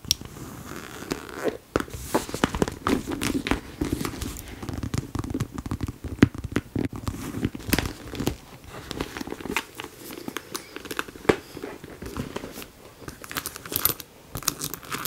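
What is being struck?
Faux leather handbag flap.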